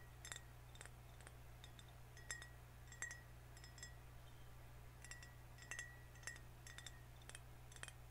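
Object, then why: Glass soda bottle. A full green glass soda bottle is held horizontally while fingernails tap and scratch its glass body and label. Quiet, bright clinks ring briefly at a high glassy pitch near 1.9 kHz, scattered irregularly over a steady low hum.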